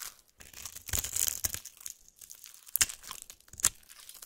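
A utility-knife blade cuts a grid into the surface of a solid white bar of soap held in one hand and shaves off small cubes that crumble away. The sound is dry, bright crunching and scraping, with a few sharper crisp snaps near the end.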